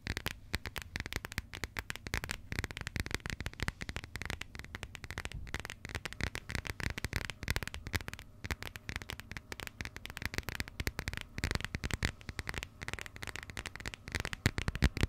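Long nails tap and scratch the coated cardboard cover of a closed burgundy passport held in the hands. A dense, steady stream of quick dry clicks and scratchy crackles runs for about fifteen seconds, with a low thump underneath and a papery rasp in the mids.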